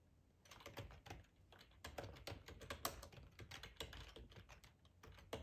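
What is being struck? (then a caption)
Plastic computer keyboard. Fingertips of both hands type on a black plastic ergonomic split computer keyboard with a hollow housing, lying on a tablecloth. A quiet, steady stream of rapid, short clicky taps follows, with a low hollow thump under each bright click. Each tap dies away almost at once.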